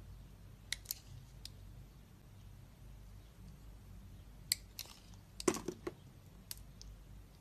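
A metal utility blade scrapes thin curls off the embossed face of a solid oval Duru soap bar with orange and yellow stripes, held in the hand. About eleven short, crisp scraping clicks come at irregular intervals over a quiet, low background hum, with a cluster of sharper scrapes near the end.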